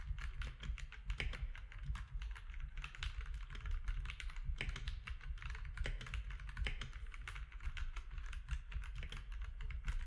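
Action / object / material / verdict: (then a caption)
tap / mechanical keyboard with plastic keycaps / plastic / none. Both hands type steadily with their fingertips on a compact mechanical keyboard with plastic keycaps. It makes a dense, continuous run of short, bright clacks over a strong low hum throughout.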